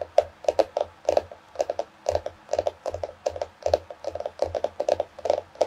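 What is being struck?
Cardboard-covered paper notebook.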